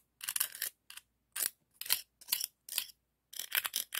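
Bright, raspy scraping in short bursts separated by silences, each with a rapid clicking texture, as a dark scallop shell is rubbed and scraped across the ridged surface of a hand-sized, hollow, empty pink-white ribbed scallop shell held in the fingers. The sound is mostly high and dry with almost no low end and no ringing after each stroke.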